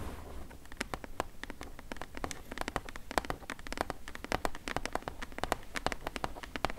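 Long nails tap and scratch rapidly on the side panel of a medium, closed, hollow corrugated cardboard shipping box. The result is a dense, quick patter of short, dry clicks with a papery, hollow tone centered around 740 Hz, over a faint low rumble.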